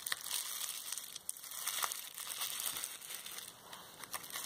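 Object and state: Plastic bubble wrap being crumpled.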